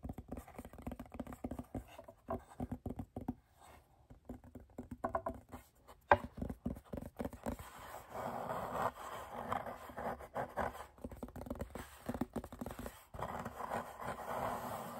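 Fingertips with short nails tap and scratch the dark surface and the light wooden frame of a small, solid, flat chalkboard held upright. Quick, dry, muted taps and clicks patter for the first six seconds, with one sharper, louder click near the six-second mark. Then come longer stretches of soft, mid-toned scratching and rubbing, broken by more light taps.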